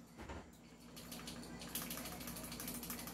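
A metal barrel on a stock, high-end Taiwan-made EMG airsoft pistol is shaken by hand, producing a quick, irregular, bright rattle over a faint low hum. The rattling shows the barrel is loose.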